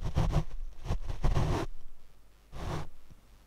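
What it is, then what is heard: Foam microphone windscreen brushed. Large paint brush bristles rub across a black foam windscreen on a Rode microphone mounted on a tripod. Four bursts of deep, muffled brushing rumble and scratch close against the mic, with quiet pauses between them.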